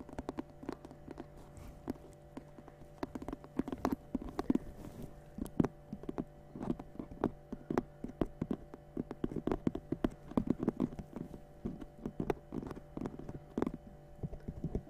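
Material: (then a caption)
Straw. A round, hollow woven straw and rope basket lid with a knob, held in both hands, is tapped and scratched with long dark-painted nails. Dozens of soft, dull taps with quick scratching come in irregular bursts over a steady low hum. Each tap dies away at once, leaving no ring.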